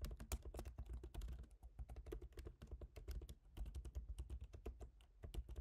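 Fast fingertip typing on the plastic keys of a silver aluminium MacBook Pro laptop keyboard. It makes a rapid, steady stream of short, dry taps with a soft thudding low end and light clicky tops. Each keystroke dies away almost instantly.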